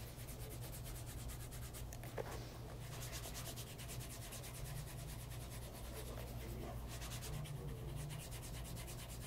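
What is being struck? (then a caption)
Leather loafer. Cloth-wrapped fingers rub the leather upper and welt of a light brown pebble grain leather casual bespoke loafer, first tilted to show the sole edge and then resting flat on a lap mat. A steady, soft, low-heavy rubbing and brushing sound continues throughout, with a faint brief tick near the start and a quiet, even level.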